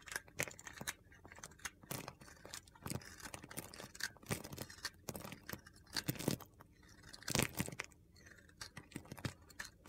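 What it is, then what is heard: Bar soap shaved with a blade. A small solid piece of white bar soap with a green coating is held in the fingers and shaved with a utility knife blade, cutting off crumbly flakes. A rapid series of dry, crunchy scraping strokes is heard, each a short, sharp burst that stops almost instantly, with a few louder cuts standing out.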